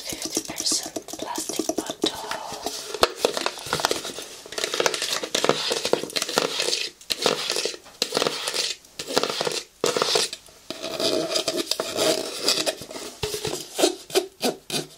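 A large, hollow, light-blue plastic cosmetics bottle is held sideways and tapped and scratched with fingernails. Quick, dry, bright clicks mix with hissy scratching in bursts separated by brief pauses. The sound is light and high-pitched, with almost no low end.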